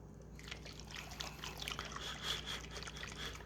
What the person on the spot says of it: you can hear that on the shake it's got a pretty liquid consistency